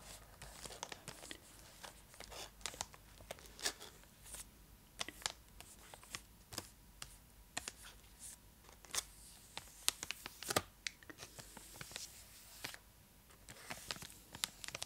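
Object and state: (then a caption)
Foil-lined plastic chocolate wrapper. A large, full purple Cadbury Dairy Milk block in a foil-lined plastic wrapper is held beside the face and scratched and tapped with long acrylic nails. Quiet, bright crinkles and scratchy rustles are broken by sharp, dry clicks. Each tap dies away almost instantly, with little low end.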